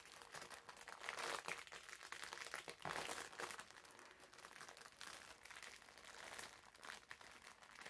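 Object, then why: Foam bath sponge in plastic film. A green foam bath sponge wrapped in clear plastic film is pressed and rubbed flat on a table with fingertips, then picked up and squeezed. The wrapper gives a dense, continuous crinkling and crackling that is bright and thin, with almost no low end, swelling and easing in soft bursts throughout.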